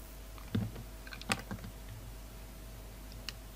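A solid red poppy carved from soap, held in the hands, is cut and scraped apart with a utility knife. Six short, crisp cuts and scrapes sound at an uneven pace over a low, steady hum.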